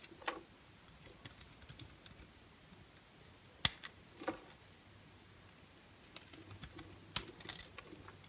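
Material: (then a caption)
Soap. A partly carved-away orange and white striped bar soap is cut and scraped with a utility knife blade. Short, crisp, bright scraping clicks come at irregular intervals over a quiet background, and each one dies away almost instantly.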